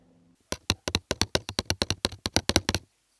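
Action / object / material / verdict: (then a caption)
tap / cardboard box / cardboard / none. A KORG CM-400 contact mic clipped to the cardboard box it came in picks up the box's vibrations as it is tapped and knocked on. About 18 short, dry, closely spaced taps are heard, each with a low thump and a bright, papery click, and no voice comes through.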